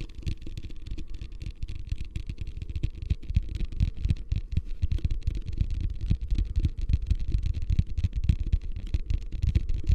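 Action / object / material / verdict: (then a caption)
tap / plastic ice bucket / plastic / none. A medium beige, hollow, empty plastic hotel ice bucket is held upside down close to the microphone and tapped and scratched on its sides with fingertips and nails. The result is a steady stream of soft, dull, low thumps with a hollow boom, mixed with faint scratching, all very dry with almost no ring.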